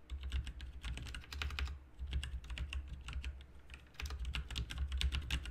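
Two hands type rapid fingertip key presses on a full-size plastic RGB mechanical keyboard with plastic keycaps. Quick, bright clicks and clacks come in dense bursts, with brief pauses around 2 and 4 seconds. A steady low hum sits underneath.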